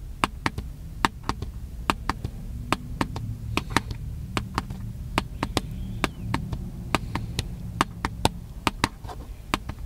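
Fingertips tap the body of a small black handheld plastic camcorder in a steady run of quick, dry clicks. Each tap is short and sharp with almost no ring, over a low rumbling hum.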